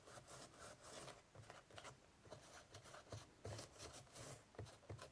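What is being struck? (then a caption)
Woven straw basket lid. Fingertips wipe and rub a tissue across the woven straw surface of an ornate straw basket with its lid closed and hollow inside. The result is soft, irregular scratchy rasping strokes with bright crackle on top and a low, hollow thump under each pass.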